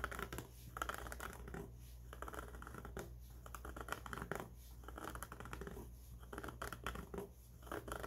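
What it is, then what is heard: Trucker cap fabric brim being scratched. Fingertips scratch the underside and edge of the fabric brim on a grey mesh-back trucker cap. The result is a quiet, dry scratching in uneven rasping bursts over a steady low hum.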